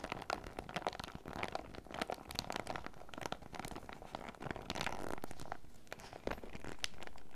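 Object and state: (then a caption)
Clear PVC zip pouch. A clear, printed PVC zip pouch held in the hand is squeezed and crinkled by fingertips and nails, producing dense, irregular crinkling and crunching of the flexible plastic. The crackles come in quick overlapping bursts, then settle into a steadier rustle toward the end.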